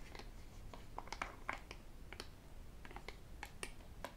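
A hollow white plastic sports bottle with a black cap is turned in the hands and tapped with fingertips and metal rings. A quiet, irregular run of short, dry clicks and taps sounds over a low rumbling background, each tap dying away almost instantly with a brief bright edge.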